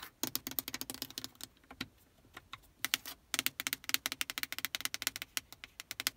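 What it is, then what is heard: Plastic car radio panel. Long painted nails tap and click quickly across the hard plastic buttons and faceplate of a solid, built-in dashboard car stereo head unit in a Prius. Sharp, bright clicks come in fast bursts with brief pauses between them. Each click is dry and stops instantly, with almost no low end.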